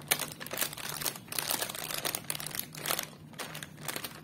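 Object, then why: Sealed foil-plastic snack packet. Fingertips and nails tap and press a small sealed green foil-plastic Crax Fritts chip packet, hollow and full of snacks, resting on a wooden table. The result is a steady run of bright, dry crinkles with brief sharp taps and no low rumble.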